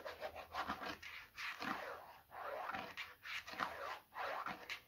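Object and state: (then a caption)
Plastic bottle scratched with fingernails. Short fingernails scratch the labelled side of a medium, hollow white plastic bottle in a series of uneven strokes. Each stroke makes a dry, raspy scrape, mostly mid-range with some bright hiss and almost no low end. The scrapes stop quickly with little ring.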